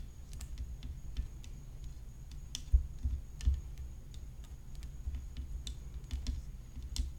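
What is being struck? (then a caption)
Graphite composite tennis racket frame with rhinestones. Long fingernails tap and click on the top edge of a hollow graphite composite tennis racket frame decorated with rhinestones. The result is an irregular run of short, dry, bright clicks over a low background rumble, with a faint steady high tone throughout.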